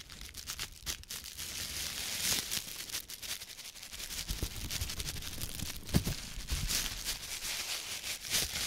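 An empty, thin plastic produce bag with green print is held in one red-gloved hand and crumpled and squeezed repeatedly, while the other hand rests on the table. The result is a steady, bright crinkling and crackling with quick sharp snaps, including one louder pop near the six-second mark.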